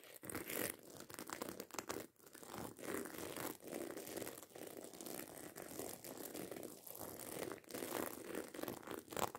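Long acrylic nails scratch quickly across the rows of small metal studs on a hollow black fabric handbag. The result is a dense, continuous scratching and crinkling texture with rapid ticks and brief dips. It has a bright, papery edge and little low end.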